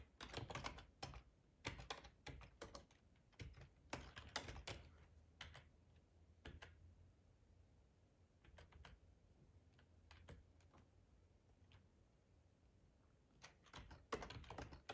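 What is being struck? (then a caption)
Plastic computer keyboard. Fingertips with short nails type on a hollow black plastic ergonomic split keyboard resting on a plaid tablecloth. Quick bursts of sharp, hollow plastic clicks alternate with a long quieter stretch of sparse taps over a faint low hum. A final flurry of keystrokes closes the clip.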